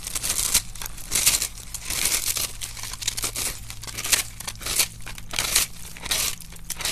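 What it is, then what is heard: Dry starch soap block being scraped and crushed. A metal knife scrapes and crushes the crumbly surface of a solid pink-and-white dry starch soap block, held steady by fingers, dropping bits onto a dark surface. Bright, dry crunching and crackling comes in irregular bursts, over a faint steady low hum.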